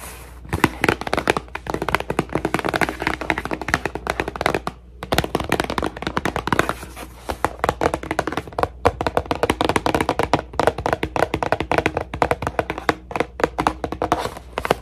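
A cardboard tissue box is tapped quickly and continuously for ASMR, with fingertips drumming on its surface. The dry, hollow taps die away almost instantly and sit in the midrange, with a soft, brief pause near the five-second mark before the tapping resumes.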